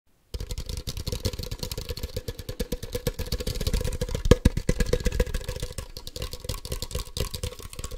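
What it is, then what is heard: Plastic toy ball. A hand-sized, hollow plastic Ultra Ball toy (a black, yellow and white Poke Ball toy) is held in one hand and tapped fast with the fingertips and nails of the other hand. The result is a steady, dense stream of quick, dry, hollow taps, mostly low and thumpy with a faint mid-pitched ring. A couple of sharper, louder taps stand out just past the midpoint.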